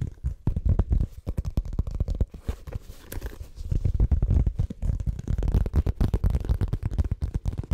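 Fingertips and nails scratch and tap the surface of a small, hollow, brown monogrammed coated-canvas faux leather zip cosmetic pouch held in both hands in front of a microphone. The result is a dense run of quick, muffled, boomy thumps and soft scratches, almost entirely deep and low with little brightness. Each tap dies away almost instantly.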